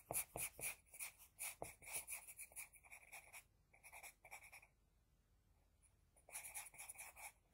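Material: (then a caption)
Paper. An HB pencil scratches across a flat sheet of drawing paper while drawing an eye, making quick, bright, papery strokes in rapid, uneven bursts. The scratching thins out, pauses into near silence for about a second and a half, then resumes with another flurry of strokes.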